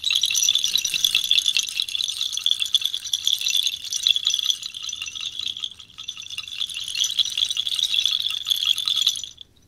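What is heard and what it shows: A bundle of small, hollow, white-painted clay or ceramic bells tied with cord is held by the cord in one hand and shaken vigorously, so the bells rattle together. The result is a dense, continuous, bright clattering centered near 3.3 kHz with almost no low end, easing briefly around the six-second mark before picking back up and stopping abruptly just after nine seconds.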